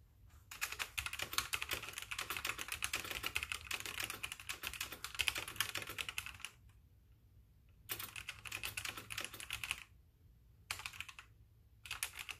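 Fingertips with painted nails type rapidly on a full-size white backlit mechanical keyboard with plastic keycaps, while the mouse stays idle. Dense, bright, clicky keystrokes run for about six seconds, then return in shorter bursts separated by quiet pauses. A faint low hum sits underneath throughout.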